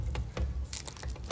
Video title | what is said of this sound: Oklavasız el açması pul pul dökülen en kolay çıtır çıtır peynirli börek tarifi | çıtır çıtır dokunsanız dağılan pul pul dökülen